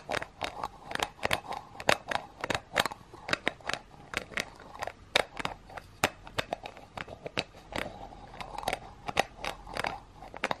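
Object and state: Metal aerosol can tapped with fingernails.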